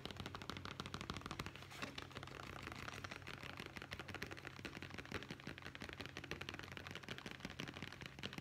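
A hollow brown leather zippered pouch is held close and tapped rapidly with the fingertips along its side. The result is a dense, continuous stream of short, dry clicks at a quiet level for the whole clip. A steady low hum runs underneath.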